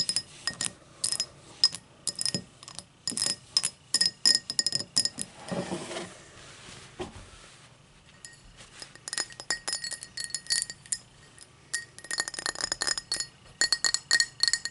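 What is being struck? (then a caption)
Tall drinking glass. A tall drinking glass is tapped in quick, uneven bursts of bright, high clinks with short ring, broken around the middle by a softer scratching stretch. The taps then resume in dense clusters, leaving clear, glassy ringing tones.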